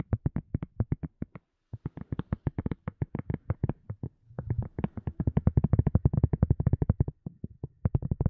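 A silicone cup lid is tapped repeatedly in quick, dry taps that give short, muffled low thuds around 113 Hz with almost no ring. After a brief pause near the start, the tapping resumes and grows faster and denser toward the end.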